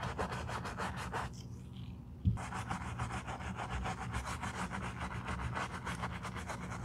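A foam-covered black leather boot is scrubbed with a bristle brush along the side and heel, making steady rhythmic brushing strokes over a low hum. The strokes pause briefly, a single sharp knock sounds, and the scrubbing resumes at an even pace.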